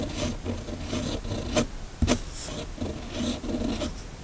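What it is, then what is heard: Pen nib writing on paper. A steel fountain pen nib on a red pen is drawn across a flat, thin sheet of white paper in continuous cursive strokes. It gives a dry, scratchy rasp in rhythmic bursts, with bright edges on some strokes and a sharper, louder scratch about midway.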